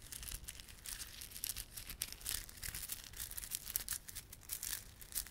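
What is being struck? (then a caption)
Plastic bead garland with plastic fringe. A small clump of plastic garland, with solid glossy dark blue and silver plastic beads and red spiky plastic fringe, is held in both palms while fingertips rub and squeeze it. A quiet, steady stream of bright, dense clicking and crinkling is heard, with short sharp ticks throughout and a faint low rumble underneath.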